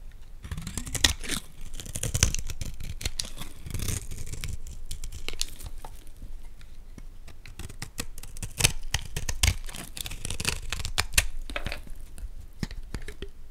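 A metal blade scrapes along the face and edge of a solid greenish Dalan olive oil bar soap held in the hands. The result is a steady run of dry, crisp scraping and crumbly tearing sounds, with a few sharper cuts standing out and bright, gritty detail over a low rumble.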